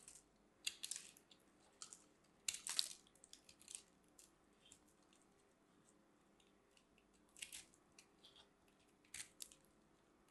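A solid pink ball of grated soap is held in the hand and carved with a metal blade, with pieces crumbling off. Quiet, bright, crisp scraping and crunching bursts come in irregular clusters, some short and some longer, with quiet pauses between them.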